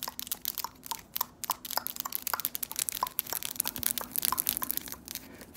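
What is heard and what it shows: Long, solid acrylic press-on nails decorated with glitter and patterned designs are tapped and clicked against each other, both hands at once, close to the microphone. The result is a rapid, uneven run of sharp, bright clicks and light crunchy ticks that stop almost instantly, with very little low end.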